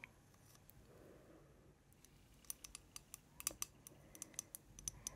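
Long painted fingernails tap the glass sides of a large, lit Yankee Candle jar, about 15 cm tall and filled with pink wax, held up in both hands. The taps are quiet, bright, sharp clicks that die away almost instantly, sparse at first and then coming quicker over a soft, faint background hiss.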